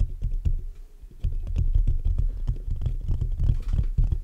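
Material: Metal mesh.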